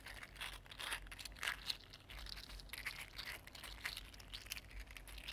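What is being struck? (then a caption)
3D printed plastic articulated slug. A mini green 3D printed plastic articulated slug is bent into a curl and straightened again with the fingertips, its segments clicking against each other. The sound is a quiet, dense run of bright, dry clicks and crinkly ticks with no ring.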